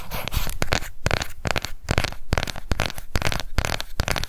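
Long nails quickly tap and scratch the lid and edge of a small, round, hollow pink plastic cushion foundation compact, held upright and then laid flat. Dense, rapid clicky taps and crackling scratches repeat without pause, each tap short and dry with a low thump beneath a bright, sharp edge.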